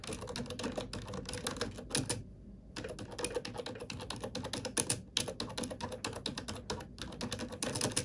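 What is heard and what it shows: Fingertips and nails type rapidly on a glossy black plastic computer keyboard, producing a dense stream of sharp, bright clicks with a brief pause a little after two seconds. Each click is short and dry, with a low thud under the crisp tapping.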